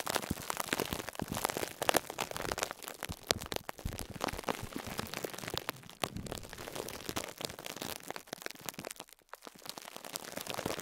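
Fingertips press and squeeze a small, soft two-layer yellow and pink foam sponge tightly wrapped in clear plastic cling film, lying on a cloth between two microphones. Dense, bright crinkling and crackling mixes with soft squishes, with sharp little pops throughout and a brief quieter pause near the end.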